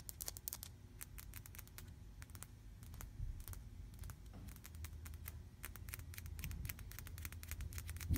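Long painted fingernails rapidly tap and scratch a flat, solid, painted white interior wall. The clip is a quick, quiet patter of short, bright clicks and scrapes that die away almost at once, over a steady low hum.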